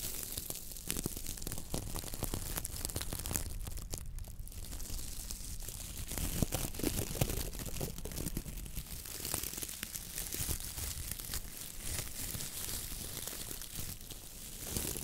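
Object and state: Coconut fiber dish brush.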